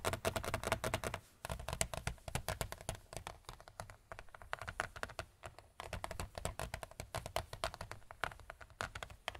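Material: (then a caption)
Glass. Fingertips of both hands quickly tap and drum on the glass front of a large white picture frame lying flat on a wooden desk; the frame is fairly thin and flat with a hollow backing. The result is a dense run of crisp, dry clicks with a dull low body and almost no ring, broken by a brief pause after about a second.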